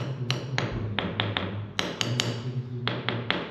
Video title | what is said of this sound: LET'S MAKE SOME CHANGES - What should we do next? | you can hear the different pitch between solid 6-in concrete and where it's only a few millimeters thick